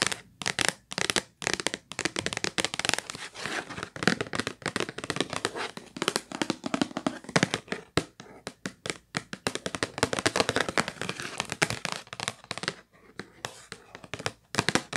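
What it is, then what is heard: Cardboard tissue box. Long white nails tap and scratch the flat printed surface of a hollow purple Kleenex cardboard tissue box with tissues inside. Quick, dry taps and bright, crinkly scratching run in dense bursts with brief pauses. Each tap dies away almost at once.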